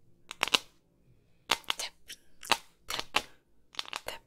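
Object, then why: Small hollow hard-plastic ball. Long pink nails tap and scratch a hand-sized, hollow hard plastic soccer-ball container, printed white with black patches and held close. Quick bursts of sharp, bright clicks come in small clusters separated by brief quiet gaps. Each click dies away almost instantly, with little low-end body.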